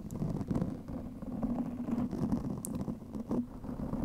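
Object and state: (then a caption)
Foam microphone windscreen being scratched. Long manicured fingernails of both hands scratch a large, soft, porous black foam windscreen covering a microphone. The result is a dense, continuous rumbling scrape centered low, around 200 Hz, with occasional brief bright crackles rising above it.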